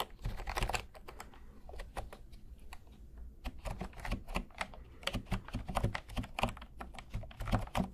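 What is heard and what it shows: Fingertips type rapidly on a full-size cream plastic keyboard with round pastel keys, held and tilted in front of the microphones. The keys give quick, dry clicks with short bright ticks over a soft low thud, falling into a steady, uneven clatter that stays fairly quiet throughout.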